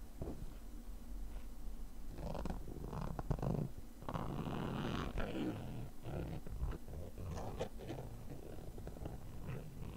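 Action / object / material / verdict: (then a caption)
scrape / padded nylon case / nylon / none. A thin, pointed metal tool scratches the fabric surface of a small, hollow, black padded nylon zippered case with a flap strap. The scratching makes a dense, low, rumbling rasp, with short scraping strokes that come in uneven bursts for the whole clip.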